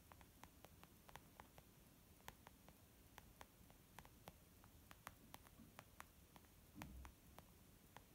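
A white textured leather zip makeup pouch resting on a wooden table is tapped slowly with the long nails and fingertips of both hands. About two dozen short, dry clicks ring briefly over a low, steady hiss, with a soft rustling thump near the end.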